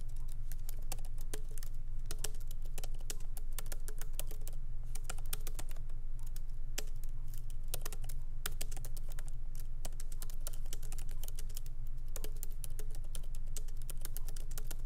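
Fingertips of both hands lightly type on a MacBook Pro laptop keyboard with black plastic keycaps set in an aluminum body, resting on a wooden desk. A steady stream of soft, unevenly spaced key clicks with bright tops continues throughout over a constant low hum.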